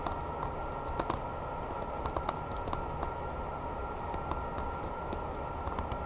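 Long nails tap fast and scratch along the ribbed tail and back of a grey, hollow vinyl Godzilla toy figure. About a dozen sharp, light clicks stand out over a soft, steady scratchy hiss with a faint constant tone in the midrange.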